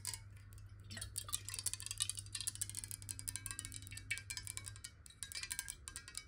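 Long nails tap rapidly on a clear, square glass water bottle that is hollow, partly filled with water and tilted in the hand. The result is a dense run of bright, glassy clicks with very short ring and chime-like shimmer, over a steady low hum that stops near the end.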